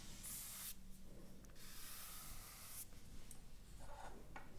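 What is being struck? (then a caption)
Closed cardboard retail box. Long manicured nails and fingertips scratch, trace and tap across the lid of a closed, rectangular, hollow cardboard iPad retail box lying flat, with a printed image on the front. Bright, hissy scratching sweeps come in bursts over a soft, steady low rumble, broken by brief light taps.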